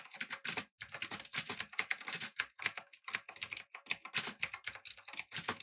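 Fingertips type steadily on a backlit, typewriter-style mechanical keyboard with round plastic keycaps. Rapid, crisp clicks sound bright and sharp with almost no low end, each dying away instantly, with one brief pause early on.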